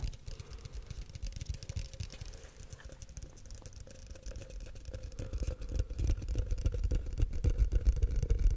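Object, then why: Frosted plastic cup. Fingertips and short nails tap and scratch the walls of a tall, empty, hollow frosted translucent plastic cup held in the hands. The result is a rapid, fairly steady patter of soft, dull, low taps with faint scratching, growing louder over the last few seconds.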